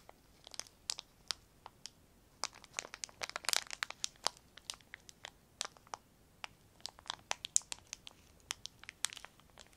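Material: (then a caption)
Plastic. A crumpled piece of semi-thick clear plastic film is squeezed and crinkled with the fingertips of both hands. Dozens of sharp, bright crackles and snaps come in quick irregular bursts, with almost no low end and no ringing between them. A denser flurry of crinkles builds up around the middle.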